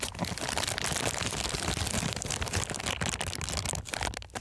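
An empty, thin, transparent plastic bag is crumpled and twisted between the fingers. It makes a dense, continuous crinkling and crackling that is bright and steady for about four seconds. The sound dips briefly near the end.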